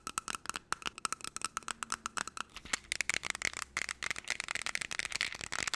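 Long nails tap quickly on a clear plastic jar with a black lid, partly filled with small golden pieces, and the jar is shaken. The result is a dense run of crisp, bright, clicky taps with a rattling, crinkly texture and almost no low end.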